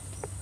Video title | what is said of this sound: Manfaat Dan Cara Membuat Pupuk Cair Dari Buah Maja | kalau kita ketok dia cukup keras ini pertanda bahwa buah maja ini sudah matang